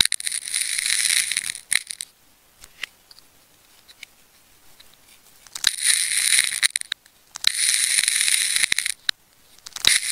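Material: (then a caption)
Plastic tape. A craft knife slices and scrapes through the tape layers near the core of a solid pink and blue wound plastic tape ball held in the fingers. Several long bursts of bright, crackly scraping and tearing come between near-silent pauses broken by small sharp clicks.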